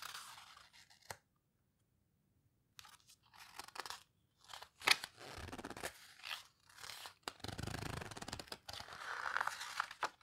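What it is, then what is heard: Paper book pages. Fingertips with long red nails flip the pages of an open paper photo book and squeeze them flat. Bursts of dry, crinkly paper rustling and soft tearing-like crackles alternate with short silences, bright and close, with a sharp tap near the middle and a smoother swish toward the end.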